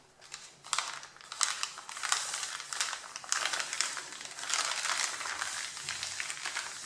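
Fingertips and nails rub and scratch the top sheet of a stack of A4 printed paper on a table, crinkling it. A steady run of bright, dry rustling and scratchy crinkles with brief louder crackles is heard, with almost no low end.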